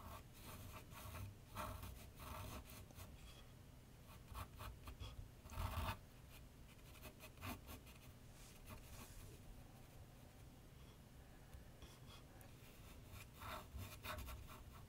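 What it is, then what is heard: Pencil sketching on paper sheet. A graphite pencil scratches light sketch strokes on a large flat sheet of white paper on a board set on an easel. Quiet, dry bursts of bright, raspy scratching come and go over a steady low rumble, with a louder cluster of strokes near the middle.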